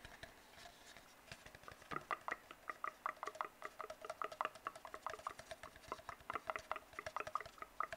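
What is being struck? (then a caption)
Cardboard tube. Fingertips tap and scratch an empty, hollow brown cardboard tube, making dozens of quick, dry, closely spaced taps. Each tap has a short hollow ring centered around 1.2 kHz, with a soft scratchy patter between them. The sound is quiet throughout and gets busier after the first two seconds.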